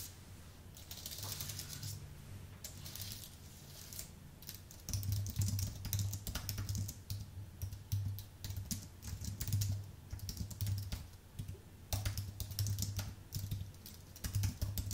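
Fingertips type on the letter keys of a white Apple full-size keyboard with an aluminium base and plastic keys. Rapid, bright clicks and taps come in uneven bursts over a steady low hum, and each keystroke dies away almost at once.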